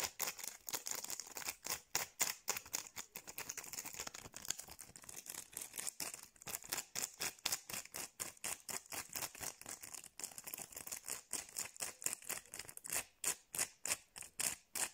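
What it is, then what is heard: Plastic rhinestone gem sticker. Long painted nails scratch and tap fast across the faceted gems of a small, flat sheet of clear acrylic rhinestone stickers on a thin adhesive backing, held in the fingers. The result is a quiet, rapid, uneven stream of short, dry, bright clicks and scrapes, mostly in the high treble with almost no low end.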